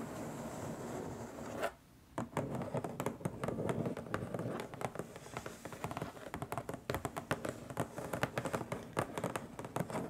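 Long stiletto nails tap and scratch across the lid of a long, flat, printed cardboard box that sounds hollow. Steady scratching gives way after a brief quiet pause near the two-second mark to quick, dull taps mixed with scraping. The taps are short and dry with almost no ring.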